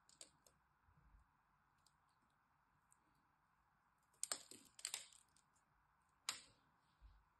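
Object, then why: Bar of soap cut with a metal blade. A metal blade carves cubes from the scored surface of a solid green dry soap bar held in the hand, making a few quiet, crisp scratching and cutting clicks. The short, dry snaps are spread over a faint steady hiss, with the loudest cuts near the end.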